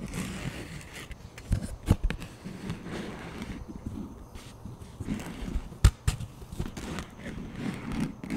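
Fingertips scrape and tap the top and rim of a thin plastic frisbee disc held flat and tilted. A quiet, low, rustling scrape runs throughout, broken by a few sharp, short taps that die away almost at once.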